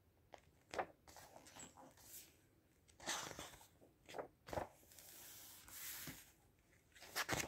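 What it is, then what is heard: Glossy paper book, page turned and rubbed. A page of a large open book with glossy paper pages is turned by hand on a table, then fingertips rub across the open spread. Quiet, bright papery crackles and sharp flicks come in short bursts, with softer smooth swishes of the rubbing between them.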